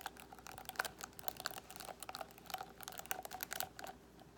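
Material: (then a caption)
Plastic. Fingernails of both hands scratch over the plastic pins of a paddle hairbrush with a black cushion, then move toward the edge of the frame. The result is a quiet, rapid stream of short, dry, bright clicks and ticks with a light crackle, each snapping off almost instantly.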